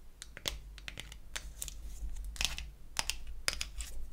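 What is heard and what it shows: Long acrylic nails tap and scratch the back and lid of a small, closed, pink-painted wooden toy eyeshadow palette. The result is a quick series of sharp, bright clicks and ticks with short scratchy strokes between them, over a steady low hum.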